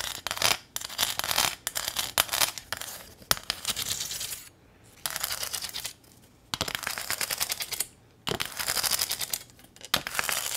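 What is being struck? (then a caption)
Corrugated metal sign. Long acrylic nails scratch and tap the ridged surface of a small, flat corrugated metal welcome sign with a ribbon bow, held up close. The result is bursts of rapid, bright, dry clicking and rasping, broken by short pauses.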